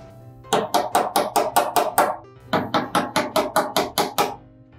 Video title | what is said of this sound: 모카 욕실장 설치방법의 모든것! (노하우 대공개)(설치전확인사항,준비물,꿀팁,설치방법,유의사항 등) | 원래는 이런 소리보다 더 둔탁한 소리가 나야 됩니다.